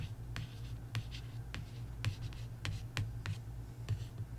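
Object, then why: Paperback coloring book with card cover. A long nail scratches and traces across the printed card cover of a paperback coloring book. Short, bright scratchy strokes come at an uneven pace over a steady low hum.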